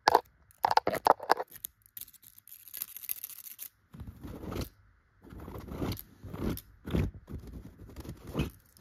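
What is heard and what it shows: Long, pointed gold glitter nail extensions scratch across a yellow chenille pillow, its tufted fabric giving off dry, crunchy scraping. A quick run of sharp clicking scratches opens the clip, followed by soft, airy brushing and then deeper, rumbling strokes across the tufts.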